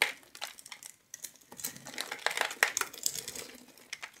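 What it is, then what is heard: Bar soap being cut with a knife. A metal knife blade scratches and carves a grid into the surface of a palm-sized solid blue bar of soap held in one hand, shaving off small soap cubes. Irregular, dry, bright scraping and crinkly crackles come in quick bursts, each one short with almost no ring.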